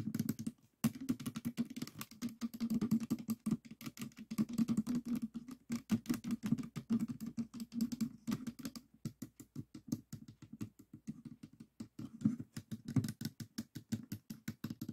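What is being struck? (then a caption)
Plastic puzzle cube. Fingertips and nails tap rapidly on the white top face of a small stickerless plastic 3x3 Rubik's cube with a hollow mechanism, resting on a table. A dense, uneven stream of short, dry clicks with a hollow low-mid body around 215 Hz and quick decay continues throughout, with a brief pause near the start.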